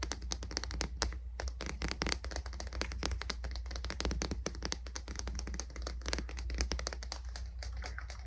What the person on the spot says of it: 18:27 Tapping on the Wood of the Boot Brush